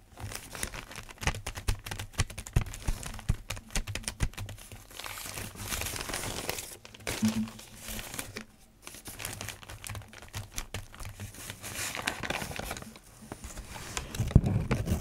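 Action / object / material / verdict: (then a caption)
scrape / newsprint paper sheets / paper / none. Fingertips rub and flatten a stack of thin newsprint newspaper sheets on a desk, then lift and turn the pages, making soft, continuous crinkling and rustling. The dense, bright paper noise rises and falls in bursts over a low steady hum, with a louder crumple at the end.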